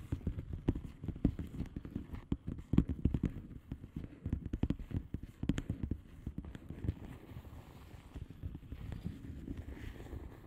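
Long manicured nails of both hands tap and scratch a flat blue plastic bubble wrap mailer envelope with air-filled bubbles. It makes a quiet, steady stream of quick, dull, low-pitched taps mixed with soft scratchy rustling, with a few sharper clicks standing out. The sound has no lingering ring.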